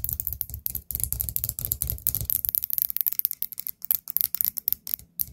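Long nails tap the rim and sides of a small orange ceramic pumpkin-shaped candle pot filled with wax, resting on a table. The result is a quick, irregular run of sharp, bright clicks with a dull low knock beneath them, each tap dying away almost instantly.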